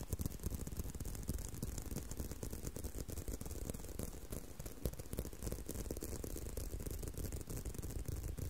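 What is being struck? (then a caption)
Leather belt. A leather belt is tapped and handled, producing a steady stream of quick, irregular taps at about three per second. The taps are dull, low thuds with very short decay, mixed with faint rattling clicks.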